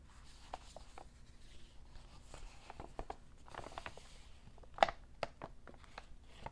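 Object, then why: Paper shopping bag. A white B.B. King's Blues Club paper shopping bag, medium-sized, hollow, empty and folded flat, is handled, rubbed and tapped with fingertips and short painted nails. Quiet, dry paper crinkles and soft rustling run throughout, broken by light, short taps. One sharper, louder tap lands near the five-second mark.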